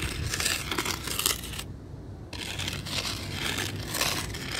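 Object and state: Gravel ground.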